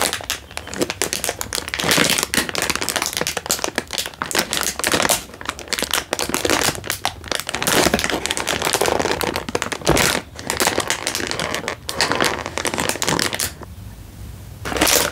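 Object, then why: Instant noodle packet in plastic wrapper. A single full Indomie instant noodle packet in a crinkly plastic wrapper is held in one hand and crinkled with the fingertips. It makes dense, bright crackling and rustling that goes on almost steadily with little low end. The crinkling drops to a quiet lull near the end before a final burst.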